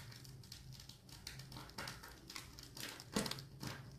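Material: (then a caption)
Soap. A metal blade scrapes and cuts along a solid, hand-sized, blue-and-white striped bar of soap held in one hand with red-nailed fingertips, shaving off curls. The clip is a steady run of soft crackling, crinkling scrapes with bright, airy edges and a faint low hum beneath. One sharper, louder cut lands just past three seconds.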